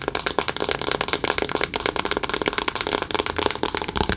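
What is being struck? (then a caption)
Cardboard eyeshadow palette tapped and scratched with fingernails. Long acrylic nails rapidly tap and scratch a cardboard "Remember Me" eyeshadow palette, held first at an angle and then flat. The result is a dense, continuous stream of dry, bright clicks and scratchy rustling with no ring after each tap.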